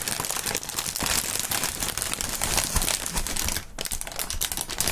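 Gloved fingers crinkle and squeeze clear polyethylene air-cushion packaging film, giving a dense, continuous rustle of bright, crackling snaps. The crinkling runs steadily throughout, easing briefly just before the four-second mark before resuming.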